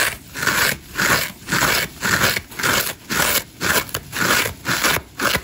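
A hand-sized dry layered foam massage sponge, green foam with orange and grey scour layers and a solid porous body, is held in one hand while its green foam side is scratched quickly and hard with long acrylic nails. The result is a steady run of rough, crackly scraping strokes, each a bright, dry rasp that rises and fades in a regular rhythm.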